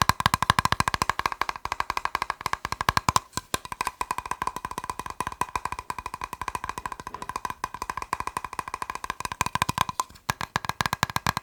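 A plastic box is tapped rapidly with fingers, making a dense, steady stream of short, dry clicks with a hollow ring around 1 kHz. The taps come in quick bursts with brief pauses near 3 and 10 seconds, each click dying away almost instantly.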